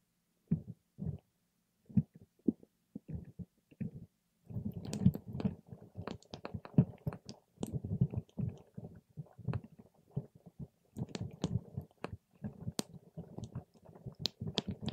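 A paper straw pokes and stirs a clear plastic cup full of purple water gel beads, making soft, wet, squishy clicks and pops. The sounds are mostly low and muffled, with a few brief bright ticks. The sparse single pokes at the start give way to a denser, continuous squelching as the stirring picks up.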